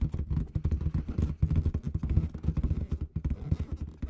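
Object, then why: Inflated latex balloon with confetti inside. Long red nails tap and scratch a large, hollow, inflated clear latex balloon with red confetti at the bottom. A rapid run of soft, dull thumps with a deep, boomy low resonance comes through, each tap dying away almost at once, mixed with faint scratchy rubbing.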